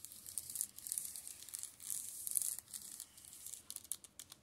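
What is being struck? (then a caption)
Plastic shrink-wrapped paperback books. Fingertips tap and scratch across the plastic-covered spines of a row of shrink-wrapped Steel Ball Run (JoJo's) manga paperbacks on a table. The result is a quiet, bright, crinkly scratching with quick, crisp taps and almost no low end.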